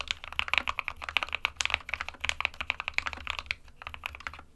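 Fingertips of both hands type continuously on an SK61 small 60% white plastic-cased mechanical keyboard with plastic keycaps resting on a desk mat. The result is a rapid, uneven stream of short, dry, bright plastic clacks centered around 2.4 kHz, with almost no low end and no ring after each keystroke.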